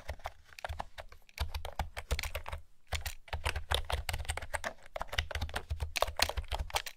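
Fingertips with long nails type steadily on a pastel plastic retro keyboard with round keys, producing quick, hollow clacks. Each short tap carries a deep thump around 74 Hz under a bright, clicky top, with brief pauses between bursts.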